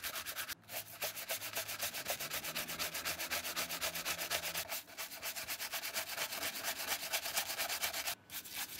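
A dark brown leather clog-style shoe covered in soapy lather is scrubbed over its upper and strap with a hand-held, wooden-handled horsehair brush. The sound is a fast, steady run of bright, hissy brushing strokes, about two per second, with brief pauses near the start, middle and end.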